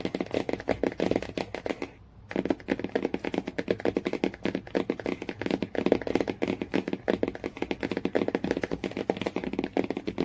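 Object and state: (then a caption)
Hardcover book cover tapped with nails. Fingernails tap quickly on the laminated cardboard cover of a hardcover Jungle Book, making a dense run of short, dry taps with a mid-range body around 450 Hz. The tapping breaks off briefly near the two-second mark, then resumes at the same quick pace until the end.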